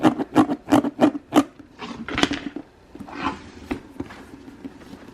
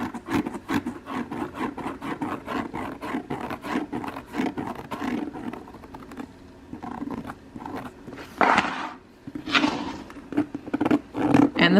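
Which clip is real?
The second.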